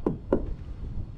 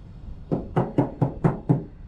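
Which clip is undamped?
The second.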